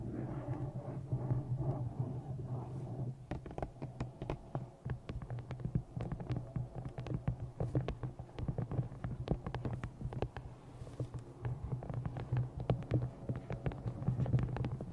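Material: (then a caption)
Paper. Long nails tap a thick black glossy paperback novel resting on a microphone, first across the cover and then along its top edge. The first few seconds are a dense, muffled rumbling patter, followed by a rapid run of sharper, short clicks over a deep, boomy low hum. The taps die away almost instantly.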